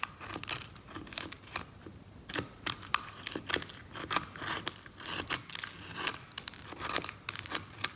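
A metal scalpel scrapes thick brown varnish off a varnished oil painting lying flat, working in short strokes while flakes come loose and the other hand rests still. The result is a rapid series of dry, bright, crackly scrapes with sharp clicks, with a brief quieter pause midway.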